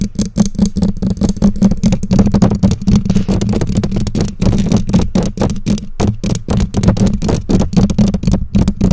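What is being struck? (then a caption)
Metal mesh microphone grille. Long nails rapidly tap and scratch the bare black metal mesh grille of a condenser microphone, producing a dense, uneven stream of dull, boomy thumps at roughly four per second. The sound is heavy in the low end with very little brightness, and each tap dies away almost instantly.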